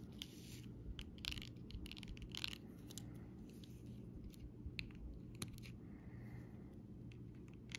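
A round-tipped dotting tool taps and rubs a flat sheet of raised, glossy plastic butterfly and lettering stickers on a clear plastic backing. Short, bright, dry clicks and crinkly scratches come in scattered bursts over a low, steady rumble. The sound is quiet and close, with no ring after each tap.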